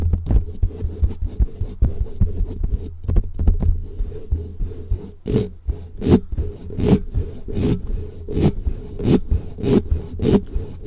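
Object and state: Foam microphone windscreen being rubbed.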